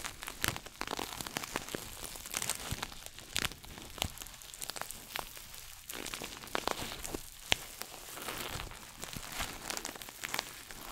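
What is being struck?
Coated nylon shoulder bag.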